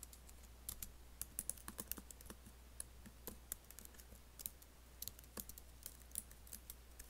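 Several fingertips type on an Apple laptop keyboard with black plastic keys and an aluminium body. Quick, irregular, bright clicks land over about seven seconds, each dying away almost instantly, above a steady low hum.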